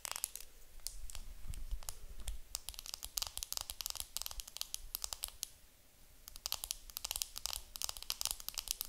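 Long nails tap and scratch the clear plastic film wrapped around a round makeup compact held up close. Rapid bursts of crisp, bright crinkly clicks and scratches come in clusters, with a soft low rumble underneath. There is a brief lull just before six seconds, then the clicking picks up again.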